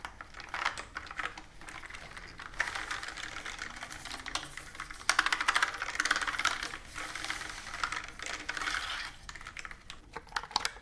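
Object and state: Plastic computer keyboard being typed on.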